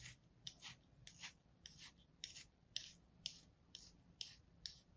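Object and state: Kinetic sand slab being sliced.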